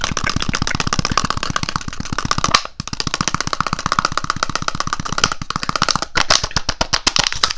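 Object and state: Thin plastic cup.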